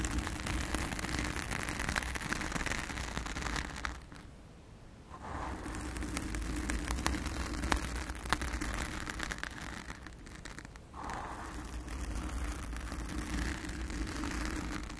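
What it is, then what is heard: Foam microphone windscreen being scratched. Long acrylic nails of both hands scratch the blue foam cover on a round studio microphone, producing a dense, continuous crackly rustle with a heavy low rumble underneath. The scratching briefly drops quieter twice, around the four- and ten-second marks, before resuming at full intensity.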